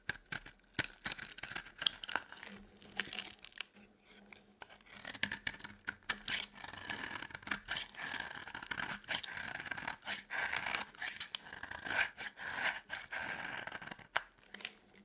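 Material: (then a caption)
Soap. A utility knife blade scrapes a solid, dry yellow soap bar, making a quiet run of bright, dry scraping and crackling sounds. Chunks and crumbs break off with short, crisp crunches that stop almost instantly, with little low end beneath them.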